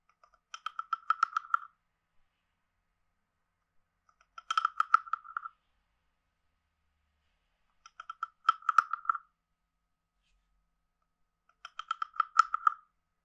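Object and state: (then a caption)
Wooden frog guiro. A wooden stick is scraped along the ridged back of a hand-sized, hollow, carved wooden frog guiro. Four separate scrapes, a few seconds apart, each make a quick rattling run of clicks with a hollow, croak-like tone around 1.3 kHz and bright, crisp edges. The clicks stop short, with no ring between bursts.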